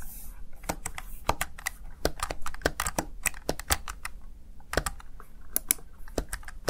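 Fingertips with short nails tap and press the keys of a small black plastic backlit Razer Tartarus Chroma gaming keypad. Quick, sharp plastic clicks and clacks come in an irregular typing rhythm, each one bright and dying away at once. A faint low hum sits underneath.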